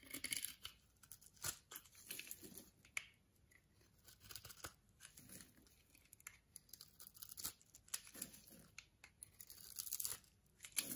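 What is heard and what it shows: A metal blade shaves and scrapes the surface of a solid, palm-sized white bar of soap held in the palm, cutting off fine white soap curls and powder. Quiet, dry, bright scraping and crisp tearing strokes come in irregular bursts, with short pauses between passes.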